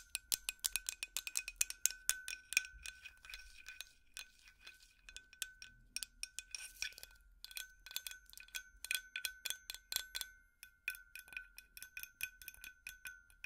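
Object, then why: Glass light bulb. A glass light bulb is tapped with plastic finger picks in quick, uneven bursts of light taps. Each tap gives a bright, glassy clink with a chime-like ring and a steady tone around 1.4 kHz, with almost no low end.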